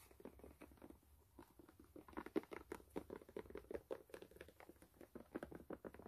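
Long nails scratch and tap the brown rubber outsole of a white canvas sneaker as it is turned in hand, with some handling of the shoe's edge. Quick, dry, scratchy strokes come in a steady, quiet patter, centered in the low mids with almost no ring. A few louder scrapes stand out midway.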